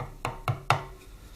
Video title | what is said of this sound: Harley Twin cam 88ci strip and rebuild part 19 | tap it where the dowels are. You can hear it when it's home.